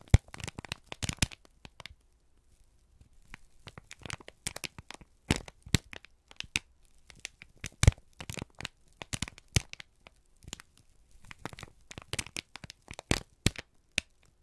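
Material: Paper.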